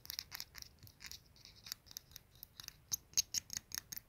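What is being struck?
Glazed ceramic soap dispenser.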